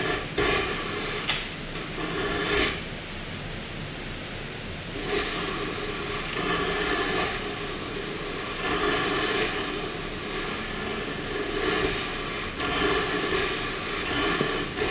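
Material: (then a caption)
Graphite. A wooden graphite pencil draws overlapping circles on a white paper sheet, its tip rubbing and scratching across the surface. The result is a steady, bright, papery scratching in repeated stroke-like swells, with a quieter stretch of softer rubbing before the strokes pick up again.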